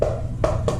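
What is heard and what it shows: Three taps on the synthetic stock of an ATI Nova Liberty .22 air rifle give short, hollow knocks with a midrange tone around 600 Hz over a steady low hum. The stock sounds hollow, and foam is to be put inside it to deaden the sound.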